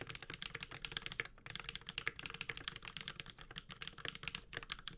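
Continuous typing with the fingertips of both hands on a Space65 Cybervoyager, a 65% metal-case mechanical keyboard with Holy Panda switches and ABS plastic keycaps. It makes a rapid, steady stream of sharp, bright clacks that die away almost at once, with a faint low thump under each stroke and a brief pause near the middle.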